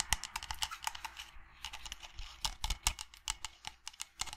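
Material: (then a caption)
Resin, steel. Fingernails tap rapidly on the resin body and steel rim of a steel-lined resin tankard. The result is a quick run of sharp, bright clicks that die away almost at once, over a faint low hum.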